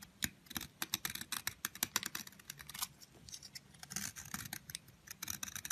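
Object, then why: Bar of soap cut by a knife blade. A long, thin, solid yellow soap bar held in the fingers has curls shaved off its surface with a utility knife blade. A rapid series of short, dry, bright scraping strokes follows one another with almost no ring, over a faint low rumble.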